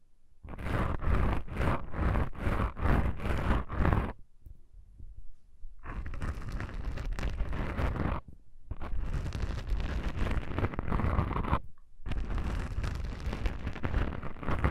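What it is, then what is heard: Foam microphone windscreen being scratched. Long matte pink nails and the fingertips of both hands scratch two small, soft, porous black foam windscreens on a stereo microphone. A quick run of rhythmic scratching strokes comes first, then a quiet pause. Longer stretches of dense rustling follow, broken by brief gaps, all dominated by a deep, boomy low-end rumble.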